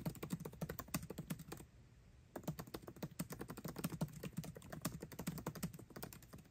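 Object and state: Laptop keyboard with plastic keys in an aluminium body.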